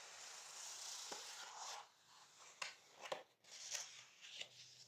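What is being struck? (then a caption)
Paper page of a softcover book. A flat palm and fingertips rub and smooth across the same printed page, showing a hair-dye box photo, of a large softcover book with Munken matte paper lying open on a wooden table. A soft, bright, airy swish fills the first couple of seconds, then drops quieter. Several short, crisp paper ticks follow over a faint hiss.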